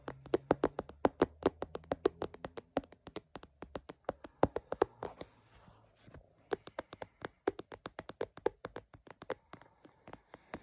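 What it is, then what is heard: Plastic phone case tapped. Fingertips and short nails tap and drum on the clear back panel and edges of an empty, hollow, phone-sized clear plastic phone case with a red bumper, lying on a dark patterned surface. About 59 short, dry, bright clicks come in quick irregular runs, with a brief quieter stretch of soft rubbing partway through before the tapping resumes.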